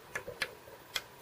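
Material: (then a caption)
Bamboo. A bamboo culm is struck four times, giving short, clear, high-pitched ringing taps. The clear ringing marks the bamboo as mature, older culm.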